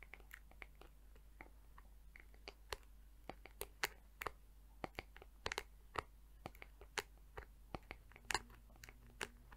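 Long nails tap and scratch the rim and back of a hollow, round-backed teal plastic hair brush with colorful, flexible plastic bristles. The result is a quiet, irregular series of sharp, dry clicks with bright, crunchy edges, each dying away almost instantly over a faint low hum.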